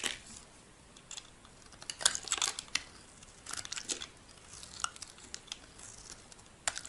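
A solid white bar of soap has its surface shaved with a metal blade, peeling off thin curling sheets. Quiet, bright scraping and crisp crackling strokes come in short bursts over a near-silent background, with almost no low end.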